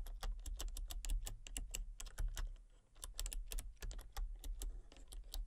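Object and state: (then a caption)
Plastic computer keyboard being typed on. Fingertips and long painted nails type rapidly on a full-size backlit plastic RGB computer keyboard with hollow key switches and colour-cycling lights. Quick, bright, clicky key taps run in an uneven stream over a steady low hum. The clip briefly quiets midway before the typing resumes.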